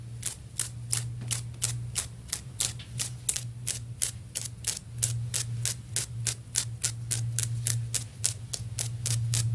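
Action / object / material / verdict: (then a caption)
tap / ceramic floor tile / ceramic / none. Long nail tips tap rapidly on a solid, stone-pattern ceramic floor tile near the grout line. Each tap gives a short, bright click with almost no ring, repeating at a quick, slightly uneven pace. A steady low hum runs underneath throughout.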